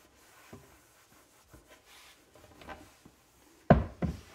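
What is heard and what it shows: A hand-held cloth wipes and rubs an open, flat-panel, dark brown wood-grain laminate cabinet door, making soft, low, dull swishing scrapes with faint light taps. Near the end, two louder, short knocks ring out clearly apart.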